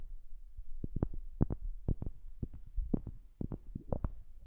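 A wooden object is tapped repeatedly, close to a new microphone, in a quick, uneven run of soft, dull knocks. Each tap is short and low, with a thumping body and almost no ring, and a few taps sound a little brighter and sharper than the rest.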